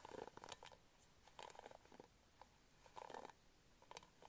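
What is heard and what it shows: Fingernails scratch across the pink plastic bristles of an orange-handled hairbrush held in both hands. The result is quiet bursts of dry, crackling scratches with a mid-range rasp and bright ticking edges, separated by short near-silent pauses.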